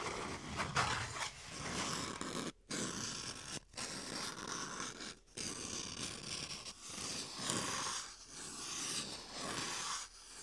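Two small, hollow, empty toilet-roll-size cardboard tubes are held in both hands while fingertips scratch and rub them and the tubes rub against each other. The result is a steady, bright, scratchy rustling with a papery texture, broken by a few brief silent pauses.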